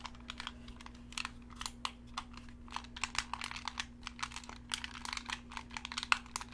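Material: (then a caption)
Plastic. A black Xbox-style hollow plastic gamepad with colored face buttons is held in both hands while thumbs and fingertips press and click its buttons. The result is a rapid, irregular run of short, dry, bright plastic clicks and taps, with a steady low hum underneath.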